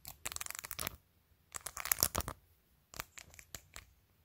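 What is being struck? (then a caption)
Plastic phone case with acrylic nails. Long, pointed acrylic nails tap and scratch across the top edge and face of a clear glitter plastic phone case that is covered in glued-on acrylic press-on nails. Quick, crisp clicks and bright, scratchy rasps come in three dense bursts separated by short, near-silent pauses.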